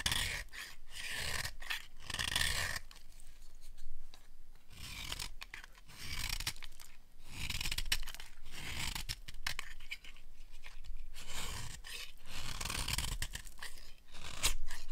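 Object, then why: Bar of soap scraped with a small metal blade. A small metal blade carves and scrapes flakes off the narrow edge of a hand-sized bar of dry yellow soap held in one hand. Repeated dry, crisp scraping strokes come in short bursts of bright crackle over a low, dull body. Each cut ends quickly with almost no ring.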